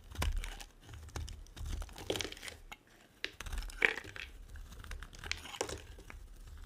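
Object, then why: Bar of soap scraped with a small blade. A small metal blade carves and scrapes flakes from a solid, dry, white oval soap bar, hand-sized and held in the hand, as crumbs fall onto the table. Dry, crumbly scraping and crinkling comes in short bursts, punctuated by crisp crunching cuts and a brighter snap near the middle. The clicks are sharp and die away at once, with a soft low rumble underneath.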